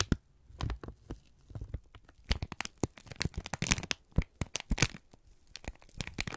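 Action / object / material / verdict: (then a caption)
scrape / thin kraft paper sheet / paper / none. A thin strip of brown kraft paper is squeezed and crinkled between both hands until it crumples. A dense run of sharp, dry crackles and crinkling snaps comes in uneven bursts, some bright and crisp and others with a soft low thump beneath them.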